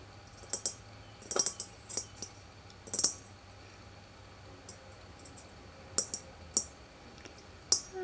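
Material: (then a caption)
Tin. A small old hollow tin world globe is held and tapped with the fingertips and nails of both hands on its side near the equator seam. Thirteen short, bright, tinny clicks land in irregular bursts, each dying away almost at once against a quiet background.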